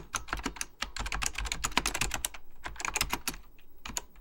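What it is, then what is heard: Plastic mechanical computer keyboard. Fingertips type rapidly on an Apple Extended Keyboard II, a plastic mechanical computer keyboard with beige plastic keycaps and a hollow plastic case. The result is a quick, uneven stream of sharp, bright key taps that die away almost instantly, over a soft low thud from the case.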